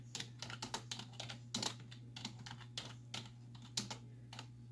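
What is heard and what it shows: Long nails and fingertips type on the hollow keys of a black plastic computer keyboard resting on a wooden desk. About 20 rapid, bright, clicky taps sound in quick bursts, each dying away almost instantly, over a steady low hum.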